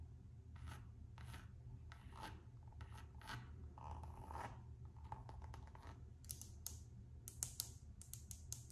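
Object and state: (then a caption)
Coated canvas and rubber slide sandal. Long nails scratch and rub the coated-canvas strap and textured rubber sole of a Gucci slide sandal, making soft, quiet raspy strokes over a steady low hum. Toward the end, the strokes give way to sharper, brighter clicking scratches.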